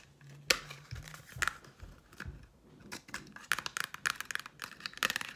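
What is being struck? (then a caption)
Cardboard makeup palette. A small, flat black-and-white Sephora makeup palette in cardboard packaging, held in the hand, is tapped with long nails. The result is a run of quick, dry, bright clicks with almost no ring, irregular in spacing and growing busier toward the end.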